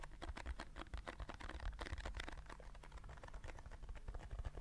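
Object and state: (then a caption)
Paper drink carton. A small paper juice carton is tapped quickly on its sides with fingertips and nails. The result is a fast, dense run of short, dry taps with almost no ring, mostly low thuds under a soft, papery click.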